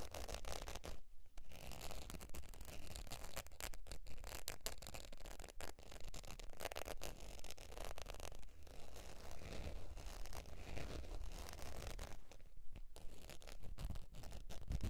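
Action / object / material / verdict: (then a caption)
scrape / faux leather zip wallet / faux leather / none. Long pointed nails scratch the surface of a beige, textured faux leather zip wallet lying on fur. The result is a dense, steady run of rough, rapid scratching and scraping with a strong low-end rumble. The scratching thins briefly a few times before resuming.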